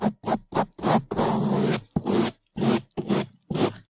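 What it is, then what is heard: Foam microphone windscreen brushed with bristles. Two bamboo toothbrushes held in gloved hands scrub fast over the top of a black foam microphone windscreen. The result is a run of loud, broadband bristly scraping strokes, mostly short bursts with one longer sustained scrub in the middle, separated by brief silences.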